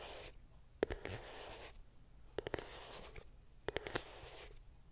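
A small, closed and hollow white printed cardboard iPhone box is held close and scratched and tapped with long pink nails. Three bursts of dry, hissy scratching alternate with short pauses, each punctuated by sharp, quick taps with a hollow mid-range knock.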